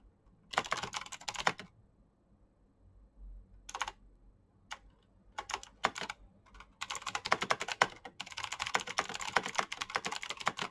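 Fingertips of both hands type at a slower pace on a black plastic backlit mechanical keyboard with clicky switches. Bursts of sharp, bright clicks come in uneven runs with short pauses between them, then turn into a steadier stretch of typing toward the end.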